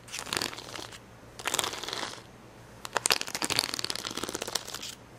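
Fingernails scratch and pick at red and yellow acrylic rhinestones on the clear plastic backing of a plastic rhinestone sticker sheet. Three bursts of bright, dry crackling and scratching are separated by quiet pauses, and the last, longest burst is dense with sharp ticking clicks.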